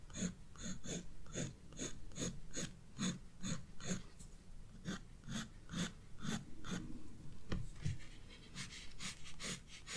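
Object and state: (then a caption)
Pencil shading on a sketchbook page. A graphite pencil scratches short shading strokes on a hyacinth drawing in a spiral paper sketchbook. It makes a quiet, fairly steady series of brief scratchy strokes, about two per second, each with a soft low rub and a bright papery hiss. The strokes stop quickly, with little ring.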